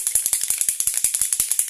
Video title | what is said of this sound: Make up 14 janvier 2020 | on secoue bien, vous entendez la bille